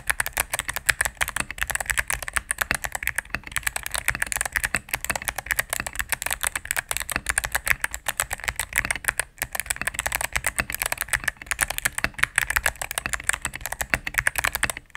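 A cream full-size mechanical keyboard with plastic keycaps on a solid plastic case is typed on rapidly with fingertips and medium nails. A dense, steady stream of short, bright clacks runs through the whole clip. Each press dies out at once with no ring, and there is little low-end thump.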